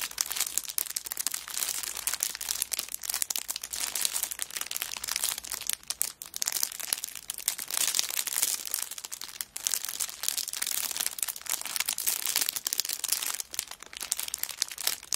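Fingertips and long nails rub and scratch the clear cellophane wrap on a kraft paper notebook lying flat on a rug. This produces a steady, dense stream of bright, high crinkling and crackling for about 15 seconds, with brief dips near 6 and 9.5 seconds and almost no low end.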